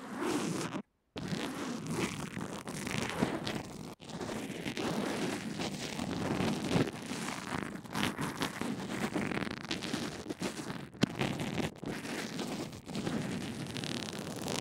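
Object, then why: Small earphone microphone wrapped in an adhesive bandage, brushed with a plastic bristle brush. A small earphone microphone wrapped in an adhesive bandage lies on a table and is rubbed along its length with a pink plastic mascara spoolie held between the fingertips. The result is continuous close brushing and scratching with a dense, rustling, zipper-like texture. Two brief dropouts to silence occur, near the first second and at four seconds.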